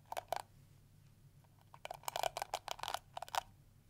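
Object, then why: Plastic hairbrush. Fingertips and nails scratch and strum the flexible plastic teeth of a round pink and yellow plastic detangling brush with a hollow shell. Two separate early strokes are followed by a denser run of quick, dry, crackly scratches, each with a mid-pitched click and a bright hiss that stops almost at once. A faint low hum sits underneath.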